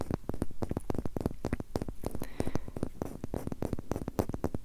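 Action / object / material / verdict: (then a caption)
tap / rectangular wooden block / wood / none. A rectangular wooden block is tapped in a rapid, continuous series of short, dry knocks that die away almost at once. The sound is low and muffled, with no speech.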